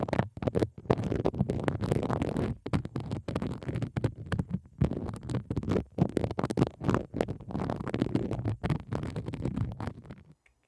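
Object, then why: Textured plastic tray. Long decorated fingernails tap and scratch across a flat pink plastic tray with a dotted raised texture and a small logo. The result is a rapid, uneven stream of dull, low-heavy clicks and scraping rustles with almost no ring, broken by brief pauses. It fades to silence at the end.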